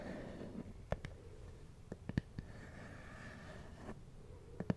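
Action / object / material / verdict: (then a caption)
tap / hard plastic glasses case / plastic / none. Fingertips and nails tap a small, hard, black plastic glasses case, hollow and closed, held in one hand. Nine light, dry clicks land in scattered pairs and singles over a quiet, low background hiss, each dying away almost at once.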